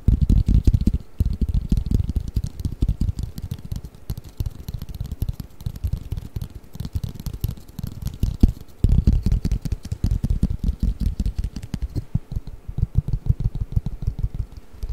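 A long, flat, hollow cardboard Mikado pick-up sticks box, held flat above the microphone, is tapped rapidly with fingertips and nails. The result is a dense run of soft, deep, dull thuds and quick clicks that die away almost instantly. The tapping keeps going throughout with a few brief pauses.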